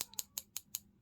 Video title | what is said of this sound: 32. Vintage costume jewellery from charity shops in England - peking glass, roses, Scottish jewelry | when you knock them together so they sound like plastic